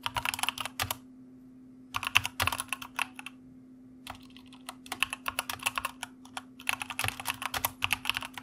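Rapid two-handed fingertip typing on a white plastic mechanical keyboard, heard as bursts of crisp, bright clicks separated by brief pauses. The keystrokes are sharp and short, with a faint steady low hum running underneath throughout.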